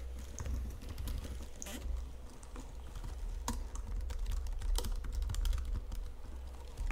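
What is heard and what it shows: Long fingernails type on the keys and tap the number pad of a white plastic full-size Logitech computer keyboard under red lighting. Irregular, quick plastic clicks and taps sit over a steady low hum.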